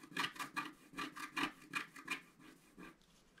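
A wooden stylus held in the fingers scratches away the black coating of a thin, solid scratch-art card page from a scratch book as it lies flat on a table while the other hand holds the card steady. Short, dry, raspy strokes come in a loose rhythm, about nine of them, with bright scratchy hiss and almost no low end.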